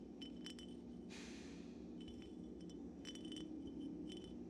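An empty dark glass Syrah wine bottle, held upright and then tilted sideways over a pile of corks, is tapped with fingertips and nails. Quiet, bright glassy clicks and clinks come in small clusters over a steady low hum, with a brief rustling swish near the start.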